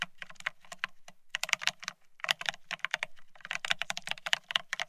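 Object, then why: Plastic keyboard. Fingertips of both hands type fast on the plastic-looking keycaps of a full-size beige split ergonomic keyboard resting on a desk. About two dozen short, bright plastic clicks come in quick bursts, each with a faint low thump beneath it. A brief pause falls around the two-second mark before the typing resumes.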